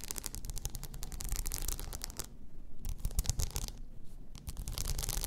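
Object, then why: Tumbler wrapped in plastic rhinestone mesh. A hollow cylindrical tumbler wrapped in blue plastic rhinestone mesh lies on its side on fur and is scratched with long nails. The result is a rapid series of dry, bright scratching and clicking strokes over a low rumble. Two brief pauses break up the strokes.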